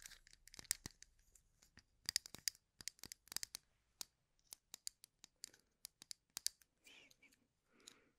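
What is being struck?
Wooden toothpicks in a small cup.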